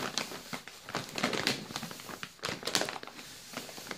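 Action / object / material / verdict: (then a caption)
scrape / plastic biscuit bag / plastic / none. A full yellow plastic Balocco biscuit bag, a cookie bag held in both hands, is crinkled and squeezed by the fingers. The result is a steady run of crisp, bright crackling and rustling with many short irregular bursts and little low end.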